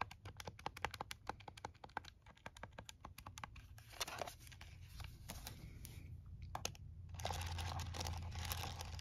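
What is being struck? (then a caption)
Plastic calculator keys. A plastic TI-34 scientific calculator is held in the hands and its keys are pressed rapidly with the fingertips, giving a quick, uneven stream of sharp, dry plastic clicks. It is then laid on a towel and the tapping continues, the clicks softening into a denser, brighter rustling texture over a steady low hum.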